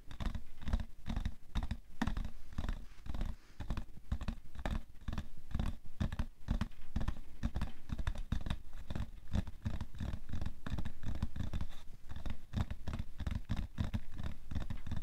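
Fingernails scratch and tap the side of a printed cardboard tissue box that has a plastic-film slot on top, is hollow and full of tissues, and rests on white fur. Dense, rapid dull taps mix with scratchy rustling for the whole clip. Each tap dies away almost instantly, and the sound stays heavy in the low end.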